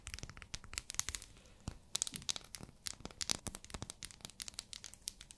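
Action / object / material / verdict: tap / glycerin soap bar in a plastic wrapper / plastic film / none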